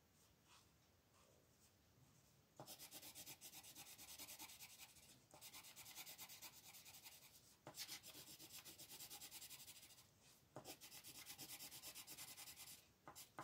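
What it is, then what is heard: Colored pencil shading on a paper page. A red wooden colored pencil shades a rectangle in quick strokes on a thin coloring book page lying flat on a table. After about two and a half quiet seconds, rapid, bright, dry scratching starts. It comes in several dense bursts separated by brief pauses, and it is heavy in the high range with almost no low end.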